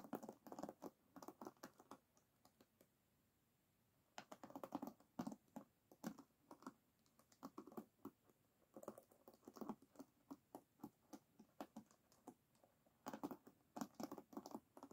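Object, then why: Bamboo hairbrush with wooden pins in a rubber cushion. Long nails scratch and flick across the wooden pins of a full-size oval bamboo paddle hairbrush, its pins set in a black rubber cushion, as it lies flat on a dark table. Quick, dry ticking and pattering clicks come in bursts separated by short pauses, with a soft low-mid body and a faint bright edge. Each click dies away almost instantly.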